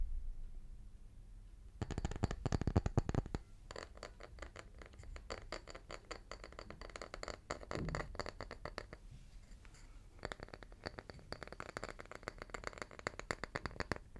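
A small, round, solid wooden tree slice is tapped rapidly with the fingertips of both hands. Bursts of quick, dry, low-pitched taps with a faint bright edge come in several runs separated by short pauses, each tap dying away almost at once.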